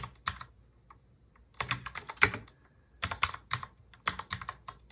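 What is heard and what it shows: Both hands type on a full-size black mechanical keyboard with plastic keycaps, fingertips tapping the keys. Quick, bright clacks come in bursts separated by brief pauses, each keystroke short and dry with almost no ring.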